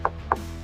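Two knocks on the painted SMC hull of a Yamaha FX SVHO WaveRunner give short, dull taps centred near 1 kHz that die away almost instantly over a steady low hum. The hull sounds really solid, just like the fiberglass and gel coat hull of the Kawasaki Ultra 310 it is compared with.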